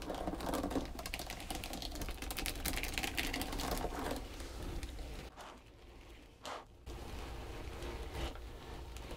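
Long pointed green nails on both hands tap and scratch a long, flat, pale pink textured foam back-buffer body sponge, making a dense, crackly stream of rapid taps and scrapes over a steady low hum. The scratching quiets for about a second and a half near the middle, broken by one short burst, before the steady tapping resumes.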